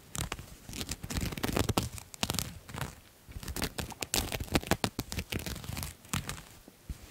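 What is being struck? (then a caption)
Satin fabric jacket. Long nails scratch and rub a shiny pink and white satin jacket held close to the mic. Quick, irregular scratchy strokes and soft rubbing swishes give a crinkly, tearing-like texture that spans from a low rumble up to bright highs. Brief quieter pauses fall between bursts of scratching.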